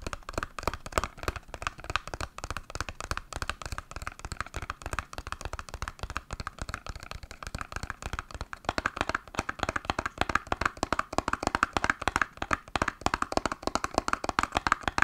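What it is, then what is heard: Cardboard box tapped with nails. Long nails tap rapidly and continuously on a small, hollow, green printed cardboard box held in both hands. The result is a dense stream of short, dry clicks with a papery resonance centered around 1.6 kHz. The tapping grows slightly louder and more pronounced over the last several seconds.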